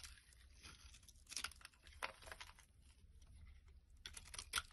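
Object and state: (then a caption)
Soap bar being carved. A solid, hand-sized, bright green soap bar is scraped and carved with a metal blade into long shavings. Soft, dry rasping and crinkly scraping run throughout, broken by several louder, crunchy, bright strokes as the blade cuts in. A faint low hum sits underneath.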